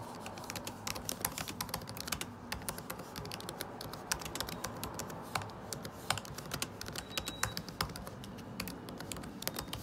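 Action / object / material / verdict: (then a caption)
tap / laptop keyboard, plastic keycaps in a metal body / plastic / none. Fingertips type quickly across the low plastic keycaps of a 2017 MacBook Pro butterfly keyboard set in an aluminum body. The result is a rapid, steady stream of short, crisp, bright clicks with a dull lower thud beneath them. Each tap dies away almost instantly.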